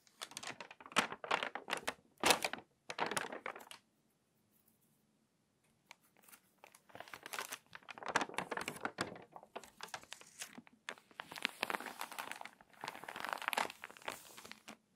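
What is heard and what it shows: A crinkly, water-damaged paper magazine has a page flipped, then long nails scratch across its pages and press the spine flat. Dense bursts of dry crinkling and scratching fill the clip, broken by a near-silent gap of about two seconds in the middle before the rustling resumes and continues to the end.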